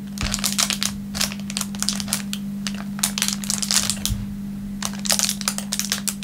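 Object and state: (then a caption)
Clear plastic wrapper. A thin, clear plastic film wrapper lying on a wooden table is pressed, rubbed and crinkled with the fingertips. It makes bursts of sharp, bright crackling separated by short pauses, over a steady low hum.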